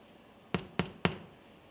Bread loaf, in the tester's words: Anda yang mengetuk, kemudian Anda juga bisa yakin bahwa rotinya sudah matang